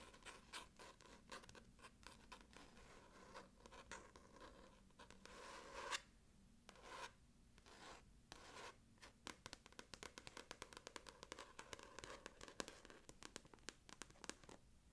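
Long nails scratch and rub the glossy card front cover of a solid, closed orange paperback copy of "The Subtle Art of Not Giving a F*ck." Quiet, rapid, dry scratching ticks and rasps, bright and papery, run in dense bursts with short pauses near the middle.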